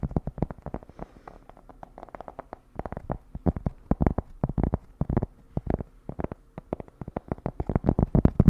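Fingers tap rapidly on a cork, making a dense run of soft, dull, low-pitched taps that stop almost instantly without ringing. The tapping shifts in intensity throughout and grows slightly louder toward the end.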